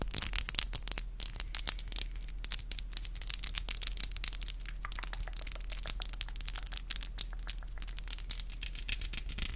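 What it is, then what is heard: Acrylic nails tapped together. Long black acrylic nails are tapped together with both hands, the nail tips striking each other in a rapid, continuous run of sharp, bright clicks. The clicks are very short with no ring, and they sit over a steady low hum.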